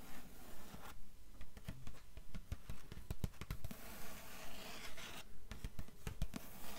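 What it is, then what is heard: Hardcover book endpaper. Long nails scratch and tap on the blue paper endpaper inside the cover of an open hardcover book lying flat. A steady, fast rhythm of soft, dry taps and scratchy strokes repeats, with short bright scraping bursts between quiet, low thuds.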